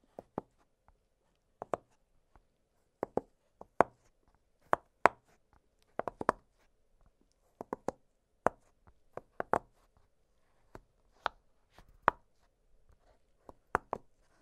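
Fingertips press and pop the hollow bubbles of an octagonal blue silicone pop-it fidget toy lying flat on a glittery surface. About twenty short, dry, irregularly spaced pops are heard, clicky and centered around 1 kHz, each stopping instantly with no ring, separated by near silence.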